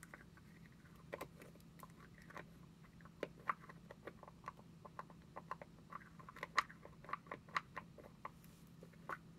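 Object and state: Plastic cosmetic jar.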